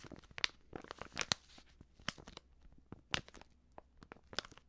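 Long nails crinkle and scratch a filled, medium white Prix Garantie plastic seasoning pouch. Irregular bursts of bright, crisp crackling and scraping come in quick, dry snaps with almost no ring, over a quiet low background.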